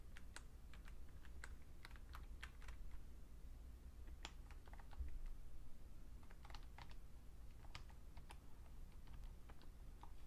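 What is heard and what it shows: A vintage beige plastic full-size Fujitsu Siemens computer keyboard is typed on by a right hand pressing the keys with its fingertips. Sharp, bright key clicks come in irregular bursts over a steady low hum.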